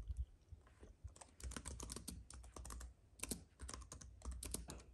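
Fingertips of both hands type on a compact white keyboard with plastic keys on an aluminium base, set on a fuzzy mat with a paintbrush lying idle beside it. Quick, bright, dry key clicks come in uneven bursts over a low background rumble.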